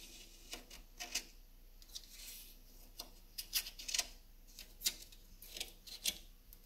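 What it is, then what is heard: Driftwood wall decoration. Long nails and fingertips tap and scratch the individual solid driftwood sticks of a wall-hung driftwood sculpture. The result is a quiet, irregular series of short, dry, bright clicks and scrapes that die away almost instantly, with light rubbing between them.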